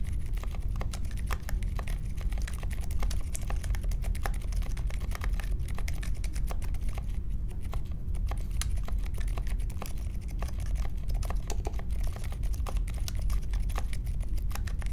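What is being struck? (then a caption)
Mechanical keyboard with metal case and plastic keycaps. Fingertips type steadily on the plastic keycaps of a compact Polaris mechanical keyboard with a metal case and Silent Alpaca switches, resting on a marble desk. A rapid, continuous stream of soft, muted clacks follows, deep and low in tone with little brightness, each press dying away almost instantly.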